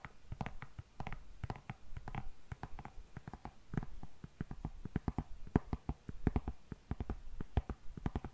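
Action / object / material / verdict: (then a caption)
tap / patent leather high-heel pump / patent leather / none. Long nails tap and scratch the shiny upper of an empty, hollow, glossy black patent leather high-heel pump. The result is a fast, uneven run of short, dry clicking taps with a low, hollow knock under each one. Soft scraping fills the gaps between the taps.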